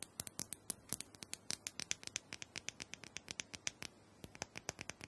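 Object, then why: Small hollow plastic dome massager tapped with fingernails. Long nails tap and scratch across the smooth dome of a small, round, hollow plastic massager held in the palm. They make a rapid, uneven run of about 38 sharp, bright clicks with very short decay, mixed with light scratching, and a brief pause near the four-second mark.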